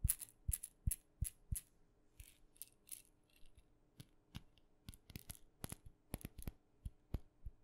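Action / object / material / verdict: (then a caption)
tap / small wooden maraca / wood / none. A small, hollow, painted wooden mini maraca with red dots is held in the fingers and tapped with long nails. The result is a quiet series of short, dry clicks with a bright, rattly edge. The taps come in an uneven rhythm, spaced more widely at first and then closer together.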